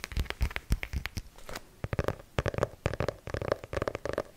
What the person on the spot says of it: Mon son préféré est celui que fait le côté du livre lorsque je tape dessus.